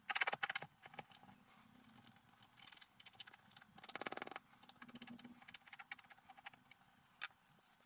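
A wooden stylus scratches lines into the black coating of a flat scratch-art paper sheet lying on a table. The result is a steady, bright, crackly scraping throughout, built from many short rasping strokes that come in denser bursts with quieter gaps between them.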